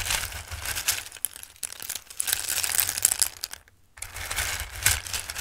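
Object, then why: Raw dried pasta shapes in a bowl. Handfuls of raw dried pasta shapes are scooped and dropped back into a bowl, making a dense, bright rustling and pattering with crisp clicks throughout. The sound breaks off into near-silence just before the four-second mark, then the pattering resumes for the rest of the clip over a faint low hum.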